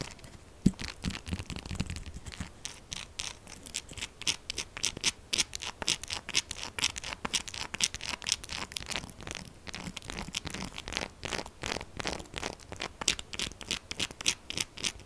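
Long acrylic nails scratch fast and hard across a solid, textured purple soap bar as it is turned in the hands. A dense run of short, bright, crisp scratching strokes carries on steadily, with little low end and almost no ring after each stroke.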